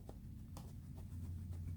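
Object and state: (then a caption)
Padded cue case, cues held tight (no rattle). A cue case fitted with its own padded interior and holding cues is shaken. Only a low, dull handling rumble and a few faint soft taps are heard, with no rattle. The padding running all the way down holds the cues secure.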